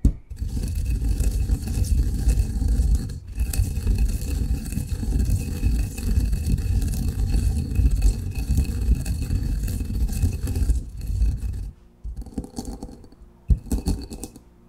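A granite pestle scrapes and grinds fine coffee grounds in a granite mortar, making a steady, low, gritty rumble that runs for most of the clip with a brief break near three seconds. It then gives way to quieter, intermittent scraping, with one sharper knock near the end.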